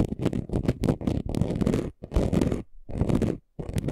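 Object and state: Chunky gold glitter sheet being scratched.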